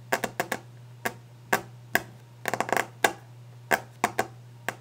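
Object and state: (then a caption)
Varnished wooden desk top. Long painted nails tap fast and aggressively on the top of a solid, polished, varnished wooden desk, making sharp, dry clicks in quick bursts and flurries. Each tap dies away almost at once, over a faint, steady low hum.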